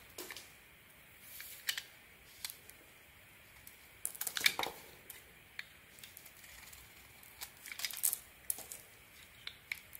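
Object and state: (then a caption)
Bar of soap being carved. A metal blade shaves the red edge off a solid red-coated white soap bar held in the hand, cutting away white soap flakes. Short, bright scraping and crisp cutting strokes come in quiet, irregular bursts, with almost no low end and very little ring after each stroke.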